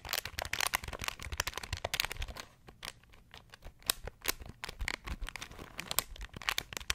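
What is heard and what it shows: A small beige plastic pocket calculator is held in the hands while fingertips press its keys quickly, producing a dense stream of short, bright clicking taps with no ring. The tapping thins out and grows quieter for about a second midway, then picks up again with sharper, louder clicks.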